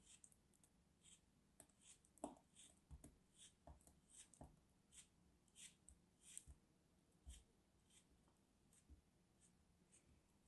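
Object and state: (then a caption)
Kinetic sand turtle being cut. A palm-sized molded solid orange kinetic sand turtle, held between fingers with long white-painted nails, is cut and scraped with a small craft knife, then broken and crumbled by the fingers. The result is a quiet string of soft, short crunching and scraping bursts with a dull low thud beneath and a bright, hissy grain on top.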